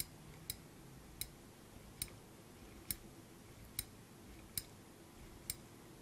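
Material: Steel.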